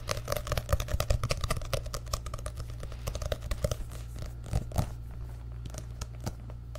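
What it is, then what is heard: Paperback book. Fingertips tap quickly on the paper pages and cover of an orange and yellow paperback book held close to the microphone. The result is a rapid run of dry, crisp clicks over a steady low hum. The taps are dense for the first four seconds, then thin out into scattered, softer ones.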